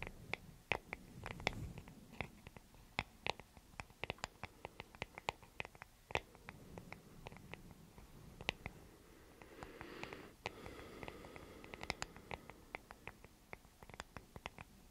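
Long nails scratch and tap the surface of a small, solid wooden hair brush held in both hands. Many quick, dry, sharp taps with a bright, clicky edge are heard over a soft, low scratching texture, each tap dying away at once.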